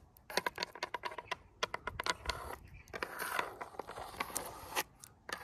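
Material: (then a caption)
Wood. Very long, pointed artificial nails tap and scratch along the grain of brown-painted vertical wooden boards on a flat, solid outdoor wall. Quick, bright clicking taps come first, then a steadier rasping scrape, and a few more crisp taps at the end.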